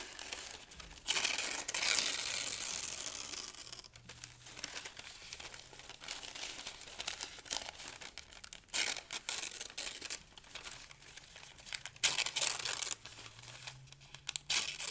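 Thin pale-green paper sheets are pinched and torn into small pieces with the fingertips. The result is bright, dry crinkling and ripping, with a long, loud tear early on followed by quieter rustling and several sharp, irregular tearing bursts.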